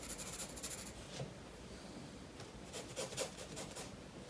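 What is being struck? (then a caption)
Graphite pencil on paper sketchbook page. A graphite pencil shades a drawing of a fish's head and body on a page of a spiral paper sketchbook resting on a wooden table. It makes quiet, bright rubbing and scratching strokes on the paper, with a few slightly louder scratches toward the end.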